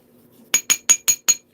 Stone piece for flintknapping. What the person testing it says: that sounds solid. Yeah, that has a tone.